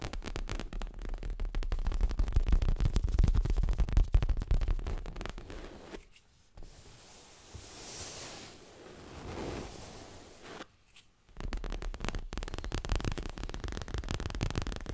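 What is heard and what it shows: Fingernails rapidly tap and scratch the surface of a stuffed, dark grey leather throw pillow held upright, making dense, muffled, bassy patters. Midway the tapping stops for about five seconds, leaving only a faint, soft rustle, then the quick tapping picks up again.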